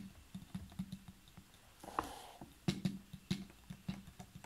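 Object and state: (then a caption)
Full plastic water bottle. Fingernails tap on the sides and upper part of a large clear ridged PET water bottle that is full of water and has a blue cap. The taps are soft, dull, low-heavy ticks that die out almost at once, with a brief brighter swish near the middle carrying a tone around 1 kHz. The tapping continues irregularly throughout.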